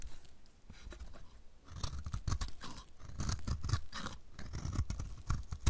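A solid, dry, light blue oval soap bar with an embossed logo is held in the hand and shaved with a utility knife blade. Repeated short, dry scraping and crunching strokes sound close and low-heavy, with bright crisp edges, and grow denser and louder toward the end.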